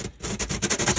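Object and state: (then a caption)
Glue still dry and crunchy after partial acetone soak. Glue on a Magnepan MGI speaker panel, darkened with acetone, is scraped again and gives a run of short, crisp, crunchy scratches with bright high-frequency hiss. The glue is still dry and crunchy: it is only partly rehydrated and needs more acetone.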